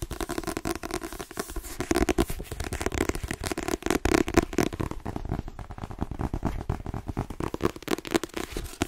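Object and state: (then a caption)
Paperback book with glossy card cover. Fingernails tap rapidly on the spine and glossy card cover of a white paperback book, then move to the back cover. The quick, dense clicking has a dull, papery tone with a steady low-mid body and little brightness, and each tap dies away almost instantly.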